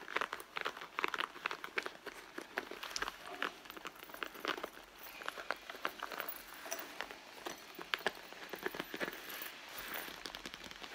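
Long blue nails scratch and rub across the front of a hollow red soft leather handbag resting on a mat. The result is a quiet, steady run of dry, crinkly scratches and rubs with no low end and bright edges.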